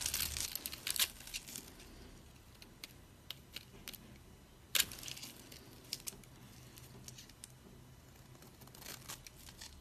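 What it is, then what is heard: Dry soap bar, shaved. A flat metal blade scrapes along a solid, elongated pink bar of dried soap held in the palm, shaving curls off its surface. Dry, bright, crackly scraping and crunching comes in uneven bursts, loudest at the start and again near the middle, with faint ticks and crinkles between strokes.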